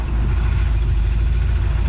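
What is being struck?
Nothing is struck.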